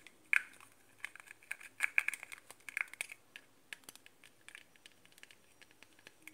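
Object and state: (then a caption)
Plastic spray-bottle cap. Fingertips and nails handle and tap the translucent, hollow plastic cap of a pink metallic Victoria's Secret spray bottle, likely a body mist. The result is a quiet run of many quick, dry, bright clicks and crinkly ticks, centered around 2.3 kHz with almost no low end. Each tap dies away almost instantly.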